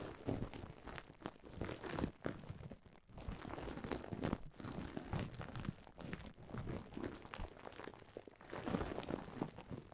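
Long silver nails scratch and press into a heap of clear plastic bubble wrap, producing a dense, continuous crinkling with quick crackles. The sound stays close and soft, weighted toward the low end with little high brightness.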